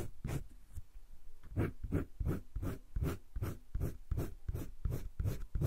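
A green wooden colored pencil shades a drawing on a flat page of a spiral-bound paper sketchbook with continuous back-and-forth strokes. The result is a steady, rhythmic scratching and rubbing of about three strokes per second, each a short burst with a soft, low, papery body.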